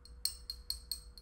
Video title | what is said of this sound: Bam Box Unboxing - (September 2017) | it's against my ring it's metal